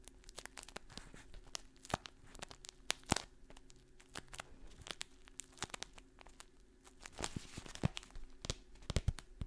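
Long painted nails scratch and crinkle a medium kraft paper stand-up pouch with a label and a clear window, held in the hand close to the microphone and apparently partly filled with dried contents. Dense, sharp crackles and tapping clicks ring out over a low steady hum, with slightly louder bursts of crinkling near the end.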